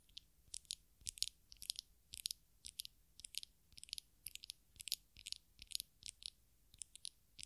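Long acrylic nails tap and scratch the glass sides of a small glass perfume bottle filled with amber-orange liquid and topped with a black square cap, held in both hands close to the microphones. The sound is a quiet, steady series of short, crisp clicks and scratchy bursts, bright and thin with almost no low end. Each touch stops dead with no ringing.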